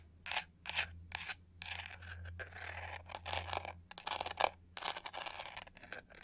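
Long nails scratch and rub the studs on the textured pink-gold back of a hollow plastic hair brush, which is turned to show its edge. The result is a series of dry, bright scraping bursts, some short and some drawn out, over a faint steady low hum.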